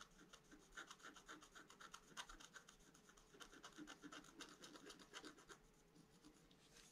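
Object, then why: Scratch-art card with wax coating, wooden stylus. A pointed wooden stylus held in the fingers scratches the black coating of a flat A4-size scratch-art card with a colored foil layer beneath, lying on a white table while the other hand steadies the card. Quick, dry rasping strokes repeat about four times a second at an uneven pace, each a short bright scrape centered near 1 kHz with high hiss above. The strokes stop dead with no ring, and the level stays quiet throughout.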